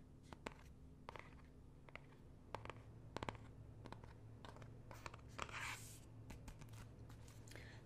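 Fingernails tap and scratch the leather-look cardboard cover of a closed, solid, medium-sized hardcover art book with an emblem, held in the hand. Sharp, dry clicks land at irregular intervals, with a brief raspy scratch partway through. A steady low hum sits underneath.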